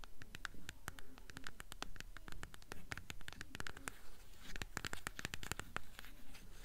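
A closed, solid, mid-sized blue hardcover copy of The Golden Compass in a glossy paper dust jacket is held upright in both hands and tapped and scratched on its spine and cover with long acrylic nails. Quick, sharp nail clicks land at an uneven, rapid pace, each with a soft low thud and a bright tick. A dry, papery scratching rustle fills the gaps between them.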